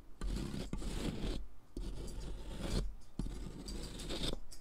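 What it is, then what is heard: Sidewalk chalk grated on a metal rasp. A thick, solid pink sidewalk chalk stick is held in the fingers and scraped back and forth across a metal mesh foot-file rasp with a purple handle, resting on cardboard as pink chalk powder piles up beneath it. Long, gritty rasping strokes carry most of their weight in the low end, with brief quiet gaps between passes.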